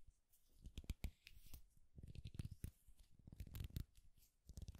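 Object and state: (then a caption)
Wooden popsicle-stick clip. A flat, thin, solid wooden popsicle-stick clip with an owl decoration is gripped in both hands and scratched with the fingernails. The result is quiet, dry, scratchy rasping in uneven bursts of quick, clicky strokes with a soft low thump beneath them.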